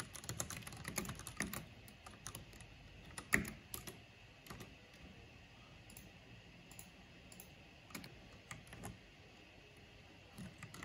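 Fingertips with long nails type on a mechanical keyboard with black plastic keycaps and purple backlighting. Sharp, short key clicks come in a dense burst at first, then thin out into scattered taps and small clusters over a quiet background, with one louder click standing out.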